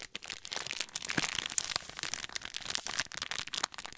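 A small, flat, clear-plastic snack packet with a printed label and snacks inside is held in both hands and crinkled and squeezed with the fingertips. The result is a steady stream of bright, crisp crackles and crunches with almost no low end, each snap dying away instantly.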